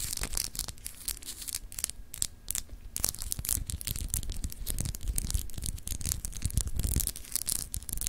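Long acrylic nails scratch across a palm-sized solid clear glass globe paperweight with etched continents, held in the hand. It makes dense, rapid scratching with crisp, bright ticks over a low, muffled handling rumble, staying close and steady throughout.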